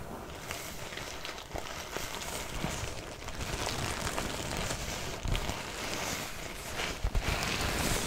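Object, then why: Faux leather cosmetic pouch. Long nails tap and scratch the surface of a soft, mostly empty red faux leather drawstring cosmetic pouch held up in both hands. The result is a quiet, steady run of dry, crinkly scratching with soft, dull taps rising out of it now and then.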